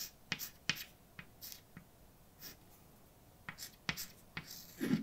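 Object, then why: Chalk stick on a painted blackboard. A hand writes words with a white chalk stick on a large, flat, dark painted blackboard. About ten short, bright scratching and tapping strokes sound against the solid surface, separated by quiet gaps, with a louder, fuller stroke at the very end.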